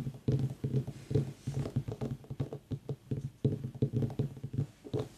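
A small, whole, white ribbed mini pumpkin, a hollow gourd, is held, turned and tapped on its sides with long fingernails while an aroma diffuser mists nearby. About twenty quick, dull, hollow knocks come in an uneven rhythm, each low-pitched and woody and dying away almost at once, with no brightness on top.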